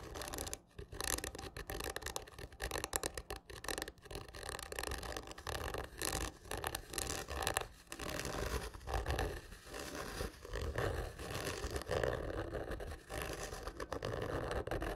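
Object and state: Cardboard tube scratched.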